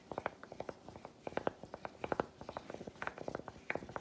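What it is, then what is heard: Milk chocolate bar. A solid milk chocolate bar resting on a palm is tapped and scratched with a broken-off piece of chocolate. A quiet, steady run of quick, dry, clicky taps with a mid-pitched knock, each dying away almost instantly, is mixed with faint scratching between them.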